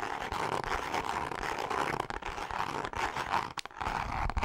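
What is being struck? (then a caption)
Grained leather zip wallet. Long nails of both hands scratch the grained face of a pink leather zip wallet. The result is a steady, dry, raspy scratching with a bright midrange hiss, broken by short pauses, including a brief gap just after 3.5 seconds.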